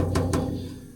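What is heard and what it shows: Two taps on a hard, rigid aluminium alloy sheet for an MRS 500 splitter and diffuser; it's a high-strength grade near the limit of weldability, brittle rather than bendy. Each tap gives a sharp knock that leaves a low, metallic ring centred around 270 Hz, fading over the second. It sounds solidly like metal, unlike softer, more plastic-sounding alloys that bend repeatedly.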